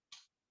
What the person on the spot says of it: that sounds metallic as opposed to here, like dead rubber